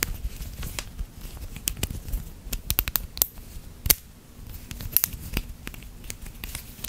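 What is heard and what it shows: A small hollow snap-together plastic link chain toy with red and blue segments, formed into a roughly hand-sized loop, is held in both hands with the fingertips. It is bent and twisted close to the microphone so the links click against each other. Sharp, bright, irregular clicks and crinkly crackles sound over a soft low rumble, with a few louder snaps standing out.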